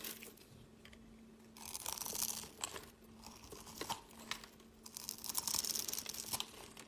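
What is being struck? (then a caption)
Glycerin soap bar cut with a blade. A utility knife blade scores a grid into a solid, translucent, palm-sized orange glycerin soap bar held in the hand and scrapes off cubes. Crisp, bright scraping and crackling come in two louder bursts, with short sharp clicks between them over a faint steady low hum.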